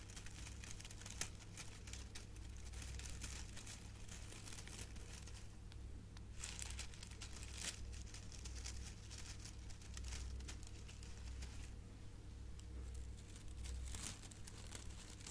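A silver metallic foil gift bow is held up and crinkled and scratched with fingertips and nails. Dense, bright crinkling and crackling comes in quick bursts over a steady low hum, and each crackle dies away almost instantly.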